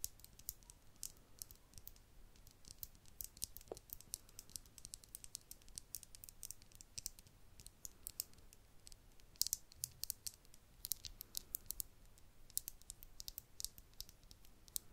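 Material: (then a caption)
Glass. A small, hollow, clear glass vial with a cork top is held close to the mic and tapped with long acrylic nails. Quick, quiet, sharp high-pitched clicks come in an uneven stream, each dying away at once with no ringing.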